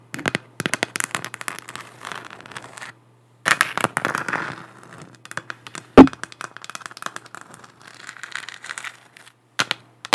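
Long black nails tap and scratch the textured surface of a large, hollow, spherical 3D-printed plastic moon lamp, making dense bursts of crisp, crackly clicks and scraping rustles over a steady low hum. The bursts are broken by short pauses, and one louder sharp tap stands out near the middle.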